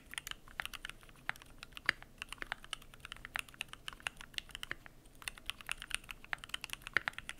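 Fingertips type continuously on the PBT plastic keycaps of a Keychron Q1 aluminum mechanical keyboard. The result is a fast, steady run of sharp, dry clicks centered around 1.8 kHz with bright upper edges and almost no ring, and a few keystrokes land noticeably harder than the rest.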